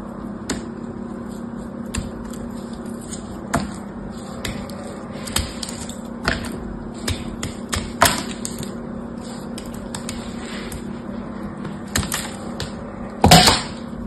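A solid, palm-sized block of dried soap with a silver-painted surface, held by fingers with yellow nails, is cut and scraped with a small blade. Sharp, dry clicks and crisp scraping snaps sound at irregular intervals over a steady low hum. The clip ends with a louder, bright crunching burst.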